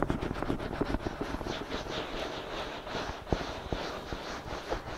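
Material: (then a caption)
Silicone. Fingertips of both hands scratch and cup the soft silicone ears of a binaural microphone. A steady, close-up rustling scratch with bright hiss and soft, muffled low thumps continues throughout, with a few sharper taps standing out near the end.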